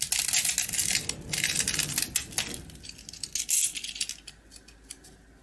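A small round rusk with a hard dark coating, solid and crumbly inside, is held in the hand while a box-cutter blade scrapes and carves the coating away. The result is a rapid run of dry, bright scraping and crackling. It is dense in the first half, with a sharper crunch near the middle, then thins to sparse light scratches.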